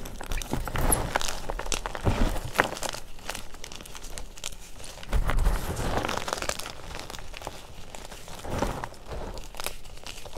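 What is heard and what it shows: Both hands dig into a mound of oil-soaked white gym chalk (magnesium carbonate with baby oil) in a green plastic bowl, squeezing the chunks and crumbling them into powder with the fingertips. The result is a steady run of soft, crinkly crunching and gritty crumbling that swells louder with each firm squeeze and settles back between them.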